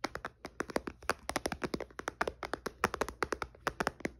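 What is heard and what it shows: Fingertips and nails tap rapidly on the glass screen of a white iPad lying flat with its screen off. The clip is a quick, uneven run of around thirty short, dry clicks, each dying away almost at once, with a bright tick over a hollow mid-pitched knock.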